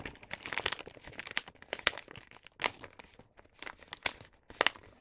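A star-print paper gift bag filled with snacks has its top edge folded by both hands, with fingertips running along the crease. Close, dry crinkles and crisp crackles come in bursts with many short bright peaks and almost no low end.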